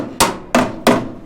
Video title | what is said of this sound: e.10, continued rust repair on C30 crew cab. Rockers and floor pan replacement | this is all collapsing as i tap on it